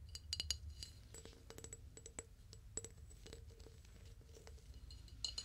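Light, quick taps on a flower vase produce bright, short clinks with a ringing tone. The taps come in bursts and sparse single strikes over a low background rumble.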